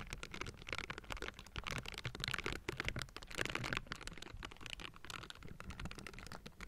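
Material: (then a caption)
Metal mesh. Pink silicone bristle gloves on both hands scratch across the hollow metal mesh grille of a Blue Yeti microphone. The result is a dense, continuous stream of quick, dry, bright scratching strokes with low thumps underneath, close and steady throughout.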